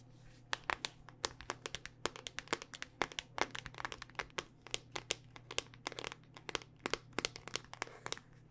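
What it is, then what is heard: Smartphone in hard plastic case. Long dark-painted nails tap and scratch quickly across the ridged back of a handheld smartphone in a solid, black rugged hard-plastic case. The result is a dense stream of sharp, bright clicks with scratchy texture between them, each dying away almost instantly over a faint, steady low hum.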